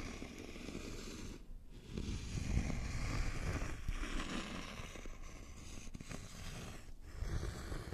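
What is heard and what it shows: A thin, flat, solid wooden notched trowel board has its face and notched edge scratched by fingernails. The result is a continuous low, rough scratching and rasping with a bright, hissy texture on top. It has brief quieter gaps and swells slightly in loudness partway through.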